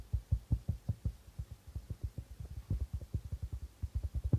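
Fingertips of both hands tap the white plastic membrane of a hollow darbuka drum in a quick, uneven patter. Each tap is a short, dull, low thud that dies away almost instantly, with no bright overtones.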